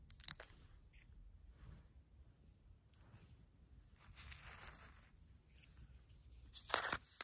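Fingernails and a red pen tip scratch and poke into dry, uncooked long-grain rice resting on a paper filter. The result is quiet, bright, crunchy rustling and grainy scraping with short crisp ticks, swelling in the middle and ending in a louder burst of rasping crunches.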